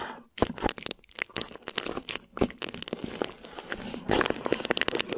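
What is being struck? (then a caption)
Thin plastic wrap stretched over a microphone. Long nails scratch and crinkle thin plastic wrap stretched over a microphone head, making dense, dry crackling and crinkling with quick scratchy bursts. The sound is bright and close, with little low end and no ringing. It pauses briefly near the start and again just after two seconds, then grows busier and louder toward the end.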